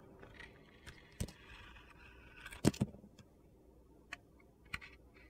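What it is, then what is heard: Bar of glitter soap being shaved. A steel box-cutter blade shaves and cuts thin slices off the surface of a solid rectangular bar of soap with orange glitter, held in the hand. Soft, gritty scraping runs under a few sharp, dry clicks and cuts, with the loudest crunch near the middle. Each cut stops almost instantly with no ring.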